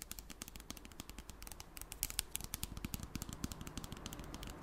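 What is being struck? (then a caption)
Plastic spray bottle with liquid inside. A clear plastic spray bottle with liquid inside is tapped rapidly with long black nails, making a steady stream of quick, dry, bright clicks over a low, soft thud. The bottle is tilted at the end, so the liquid may slosh.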